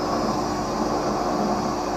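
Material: Nothing is struck.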